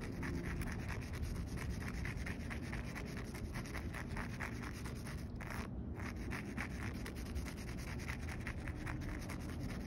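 A bare hand scratches and rubs across the top of a solid outdoor concrete curb with a rough, speckled aggregate surface, using fingernails and fingertips. The result is a steady, dense stream of gritty scraping strokes over a heavy low rumble, with a brief break in the brighter scratch texture a little past the midpoint.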